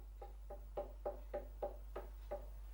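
Eight hollow knocks on a watermelon from Spain with a yellow field spot, each a short, low-mid thump around 590 Hz over a steady low hum. The hollow sound marks it as ripe, and when cut open it is juicy.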